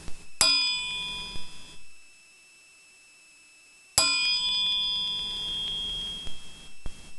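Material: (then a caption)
Steel. A steel crankshaft is struck twice with an ordinary spoon. Each strike gives a long, high, clear ring with bright overtones that sustains before fading. The clear ring identifies the crank as steel rather than cast, which would give more of a thud.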